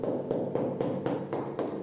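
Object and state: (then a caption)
Hollow floor tile. A large ceramic floor tile is knocked by hand eight times in a steady rhythm to find an air void underneath. Each knock gives a hollow, mid-pitched sound centered near 500 Hz with a short ring, marking the spot as hollow. The spot is then to be filled with grout.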